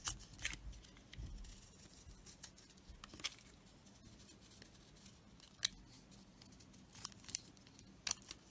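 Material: Soap.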